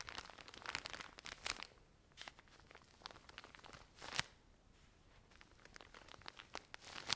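Long nails scratch and tap the plastic film of a full pack of cotton pads. The result is quiet, bright crinkling and crackling with irregular sharp taps and short scratchy bursts between softer rustling.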